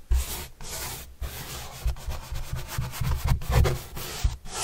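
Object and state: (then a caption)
Cardboard panel brushed. A soft paintbrush is rubbed across the surface of a large white printed corrugated cardboard panel held upright. It makes steady, dry scratchy brushing strokes with a heavy low rumble, broken by a few brief pauses between passes.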